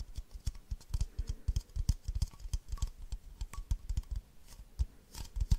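An empty, hollow, hand-sized clear plastic baby bottle with a yellow ring and a printed giraffe is tapped and scratched on its sides by long nails. The result is a quick, uneven run of short, dry clicks and taps with soft scratching between them, each tap dying away almost at once.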